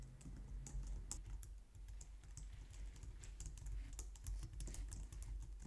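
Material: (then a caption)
Plastic. A white plastic low-profile wireless computer keyboard is typed on with both hands by someone with long nails. A steady run of quick, soft clicky keystrokes sounds bright and short over a low, dull thud from the keys bottoming out.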